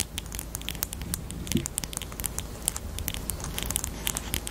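Long painted nails tap and scratch a small hollow pink plastic highlighter with a black cap, held close. A quick, steady run of light, bright clicks and crackly scratches carries over a soft low rumble, each tap dying away almost instantly.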